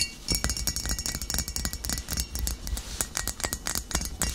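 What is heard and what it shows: A full glass vinegar bottle of amber liquid, with a label and a metal cap, is tapped with fingernails while standing upright, then tilted and tapped on the glass near its base. A rapid run of short, bright clinks is heard, each ringing briefly over a low thump.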